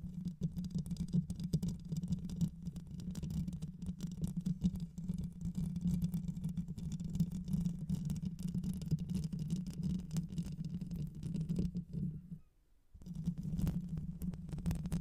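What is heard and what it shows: Long white nails scratch the rounded metal mesh grille of a black microphone with a hollow head, using both hands. The result is a dense, steady low rumbling hum with continuous fast scratchy patter, broken by a brief near-silent pause around 12.5 seconds before the scratching resumes.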